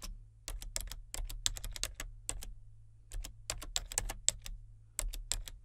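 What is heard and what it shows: Fingertips type on the main keys and number pad of a solid, full-size plastic membrane keyboard with a colour-changing backlight. Quick, dry, bright key clicks come in irregular bursts and pauses, over a steady low hum.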